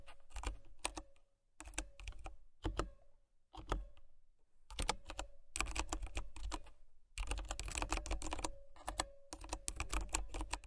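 Fingertips and nails type on a white plastic mechanical keyboard with brown switches, producing bursts of quick, sharp key clicks with a low thock beneath and a faint tone near 550 Hz. The typing comes in uneven runs separated by short pauses.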